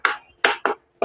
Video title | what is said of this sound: AFFORDABLE AT QUALITY na solarlights/pwede kang magcharge ng cellphone.#diy @jovsd.i.yprojects | Plastic siya pero matibay na plastic. Huwag lang ibagsak masyado, baka mabasag.